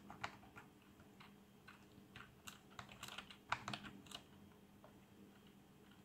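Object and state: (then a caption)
Plastic membrane computer keyboard being typed on. Two hands type with their fingertips on a black plastic membrane computer keyboard with colored backlight. The result is a quiet, irregular patter of short, soft, bright keystroke taps with a few sharper clacks, over a faint steady low hum.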